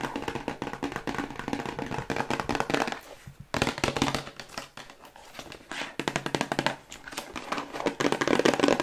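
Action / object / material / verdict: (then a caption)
tap / small paperboard box / cardboard / none. Long white nails tap rapidly on the faces and edges of a small, hollow, white hexagonal paperboard cosmetic box held up close. The dense, crisp clicks have a light, hollow body. The tapping eases to quieter stretches in the middle before picking back up at the end.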